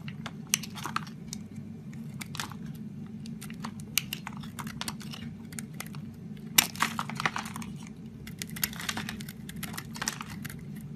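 A utility knife blade shaves and scrapes flakes off a solid lilac block of bar soap, already partly carved and held in fingers with long pink nails. Crisp, dry scraping and crunching strokes come in bursts, bright and crackly, over a steady low hum.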